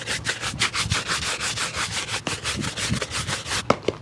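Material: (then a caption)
Leather. A dark leather shoe, hollow and empty and held in the hand, is scrubbed with a wooden-handled bristle brush in rapid back-and-forth strokes. The result is a steady run of bright, scratchy swishes with little low end, and a couple of sharper knocks near the end.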